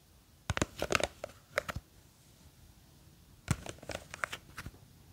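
Long green fake nails scratch and grip the sides of a small clear plastic jar with a white lid, full of blue gel beads. Two bursts of quick, crisp clicking and crackly scratching are heard, separated by a short quiet pause. Each tap is brief and bright with a little low thump.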